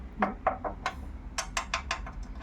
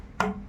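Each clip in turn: First: metal chair frame. Second: wooden chair part.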